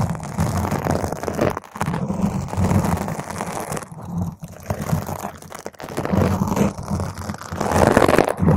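Long pointed green nails on both hands scratch all over a large, round, purple foam windscreen, soft and porous over a hollow microphone grille. The result is a dense, continuous, crunchy scratching with a heavy low rumble and muffled tone, swelling and dipping briefly throughout.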